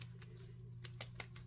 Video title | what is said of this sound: July 19, 2022 | i have a very old paint as you can hear it sounds solid